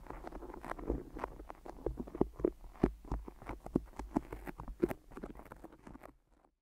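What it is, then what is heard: Tape-wrapped microphone tapped with fingertips. Fingertips and nails tap rapidly on microphone ears wrapped in white adhesive tape, each touch ending in a sticky peel as the fingers pull away. The soft, close pattering has a low thump and quick clicks that die away almost instantly, and it thins out and fades near the end.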